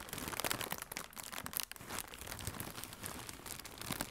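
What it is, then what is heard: Plastic air cushion packaging being crinkled. Fingertips with red nails squeeze and crinkle a hollow strip of blue plastic air-cushion packaging. A steady, fairly quiet stream of dense, bright crinkling and crackling runs throughout, with a brief lull partway through.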